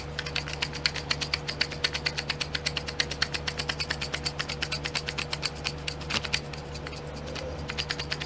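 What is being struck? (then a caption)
Small plastic pots in a plastic tray. Long nails rapidly tap and scratch the lids of small clear domed plastic pots filled with glitter, set in a pink plastic tray. Dozens of quick, sharp, bright plastic clicks, with light scratching between them, run steadily over a faint low hum.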